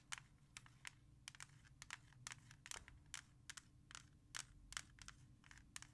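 Long nails scratch the front of a hollow plastic CD jewel case, then tap its back after it is flipped over. The result is about twenty quick, bright, dry clicks and scrapes with almost no ring, over a faint, steady low hum.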